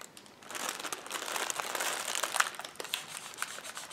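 Fingertips and nails rub, scratch and press across several clear polyethylene air pillow packing cushions, hollow and filled with air, laid flat on a table. After a quiet first half-second, a dense, bright crinkling and scratching of thin plastic runs steadily, with brief sharper crackles scattered through it and no low-end body.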